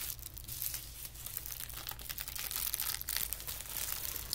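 A flat sheet of white tissue paper lying on carpet is folded over, pressed down with fingertips, and then held up. Soft, continuous crinkling and rubbing comes through as dense, bright rustles with a steady low hum underneath, staying quiet throughout.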